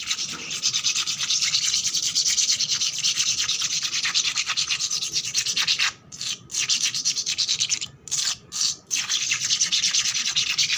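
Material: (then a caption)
Concrete. Long black nails and fingertips quickly scratch and rub a wet, flat, solid concrete floor with worn paint and soapy bubbles on top. The result is a dense, bright, hissing scratch with almost no low end. It runs steadily, broken by a few brief pauses around the six- and eight-second marks.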